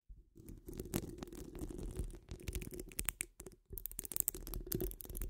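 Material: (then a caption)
Metal mesh. Long acrylic nails scratch a metal mesh microphone grille while hands wrap around the dome. The result is a dense, continuous scratching with a heavy low rumble and sharp, bright ticks. It briefly drops out near the middle before picking up again.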